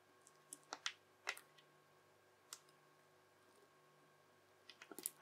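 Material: Slime.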